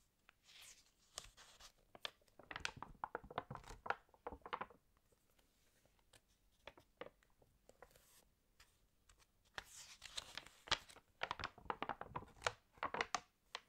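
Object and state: Glossy paper magazine pages.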